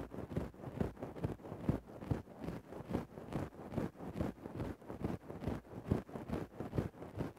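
A thin wooden stick scratches into a grey faux-fur microphone windscreen, making about seventeen soft, muffled rustling strokes at a steady, fairly regular pace. The scrapes are low and dull with a quick decay and almost no bright high end.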